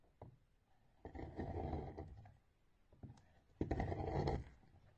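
A metal knife blade scrapes along the top of a solid rectangular orange bar of soap with embossed lettering, held by a hand with blue-painted nails. Two long, rough, crackling scrapes with a low, grainy body are heard, each preceded by a soft tick, as thin curls are shaved off and the shavings pile up beside the bar.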